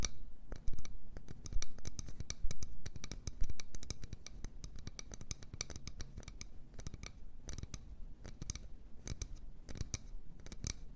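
A wooden bowl is tapped and scratched with quick, dry, irregular ticks and scrapes, each with a low, hollow body and a bright crackle on top. The sounds are loudest in the first few seconds, then settle into a steadier, softer scratching with no ring after each stroke.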